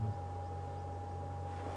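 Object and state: Nothing is struck.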